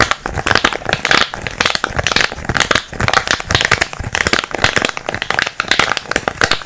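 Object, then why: Small kraft cardboard box. A small, hollow brown kraft cardboard box is held close and tapped and scratched with fingertips and nails. The result is a steady stream of quick, dry, papery taps and scrapes with bright crinkly texture and almost no ring.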